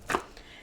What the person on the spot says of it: bop the bread to see if it's hollow. And that's how you know if it's done if it sounds hollow